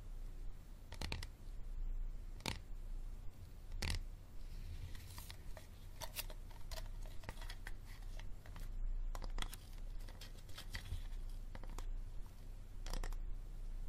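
A hard plastic water bottle is tapped and scratched slowly, with no talking, producing sharp clicks and taps with bright, crisp edges. The taps fall at uneven intervals, some in quick clusters, with brief scratchy rustling between them, all over a steady low hum.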